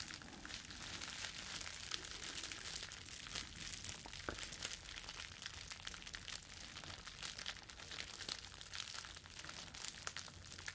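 Flexible clear plastic bubble wrap is held in both hands and folded and crumpled with the fingers. A steady, quiet stream of bright crinkling and crackling runs for the whole clip, with little low end.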